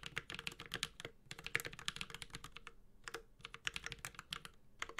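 A Space65 Cybervoyager 65% mechanical keyboard with Holy Panda switches, an aluminum case and ABS keycaps is typed on continuously with the fingertips of both hands. The result is a steady, uneven stream of short, bright clacks centered around 2.2 kHz, each dying away almost instantly, with brief pauses between bursts and little low end beneath.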